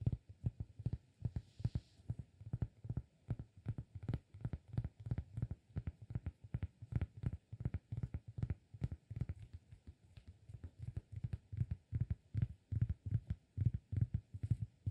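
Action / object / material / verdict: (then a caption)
tap / flat cork disk / cork / none. A round, flat, solid cork disk about the size of a palm is held in both hands and tapped and scratched with fingertips and nails. It makes a fast, uneven stream of dull, low thumps, roughly two or three per second, each dying away almost at once. Faint scratchy texture sits above the thumps.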